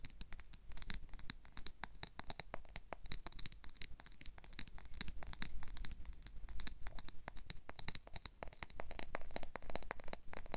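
Nails and fingers repeatedly scratch and strum the teeth of a black plastic wide-tooth comb. The result is a rapid, steady stream of dry, bright ticks and rasps, each dying almost instantly, over a low, constant rumble.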